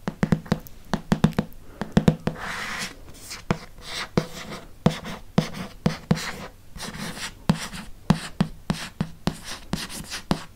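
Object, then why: Hardcover paper book. Fingertips and nails tap and trace the glossy cover of a thick, solid red hardcover Harry Potter book with a dragon on the cover. Many short, dry taps with a low thud are heard, interspersed with soft brushing and scratching sweeps across the surface.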